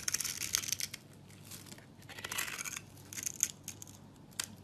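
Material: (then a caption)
Soap. A metal knife blade shaves and scrapes a hand-held, solid rectangular brown soap bar with a textured surface, curling off thin chips. The result is a run of crisp, bright scraping and crackling strokes, dry and close, with almost no low end and short pauses between passes.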